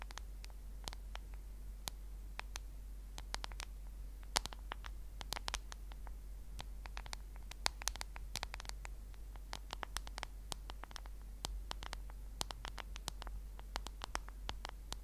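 Long nails tap and scratch the back of a solid smartphone in a black case, held horizontally. The result is a quiet, steady stream of rapid, dry, clicky taps with bright, crisp edges and light scratching, over a constant low hum.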